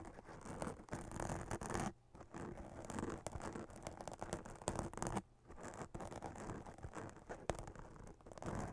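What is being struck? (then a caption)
Glitter-printed fabric witch hat. Long acrylic nails scratch across a hollow black fabric witch hat with a glitter spiderweb print, giving a dense, steady rasping scrape with a low, muffled body. The scratching runs in bursts, with brief pauses near the two- and five-second marks.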